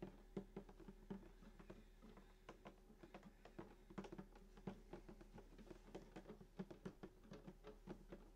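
Fingertips of both hands tap the glossy top of a full-size sunburst acoustic guitar with a hollow wooden body, near the bridge. A quiet, uneven patter of soft, hollow knocks follows, each with a brief, warm body resonance that dies away almost at once over a steady low hum.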